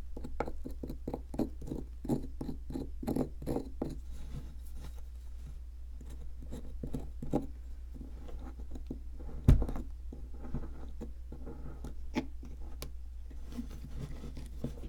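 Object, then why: Plaster block scraped with a metal pick. A metal pick scrapes around a half-exposed piece embedded in an upright, solid white ridged plaster block held in one hand, making many short, crumbly scratching strokes. The strokes come quickly at first, then settle into a looser rhythm, with one sharper, louder scrape midway. A steady low hum sits under the quiet, dry scratching throughout.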